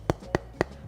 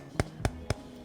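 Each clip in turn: First: paper speaker cone, heavily damped. Second: aluminium speaker cone, low damping.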